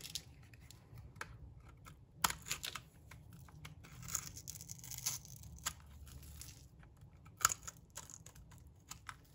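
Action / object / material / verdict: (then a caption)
scrape / bar of soap scraped by a metal blade / soap / none. A metal box-cutter blade scrapes across the surface and edge of a solid, dry green bar of soap. The result is a string of dry, bright, crisp scraping and crackling clicks over a low, steady background hum, with sharper snaps standing out now and then.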